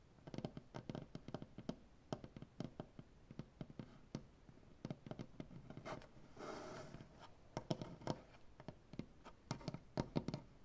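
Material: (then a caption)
Maple wood. Fingernails on both hands tap rapidly across a solid, light maple butcher block tabletop and scratch along its wood grain. Dozens of quiet, dry, short clicks with a low wooden body are heard, broken midway by a longer, brighter scratching rasp before the tapping resumes.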